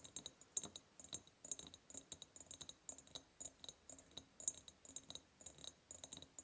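Long purple nails tap rapidly on both sides of a large, hollow, ribbed clear glass jar. The quiet, irregular stream of short, bright clicks has a faint high glassy ring and almost no low end.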